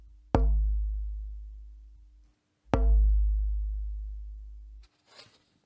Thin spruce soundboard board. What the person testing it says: You can hear it, it sounds like cardboard.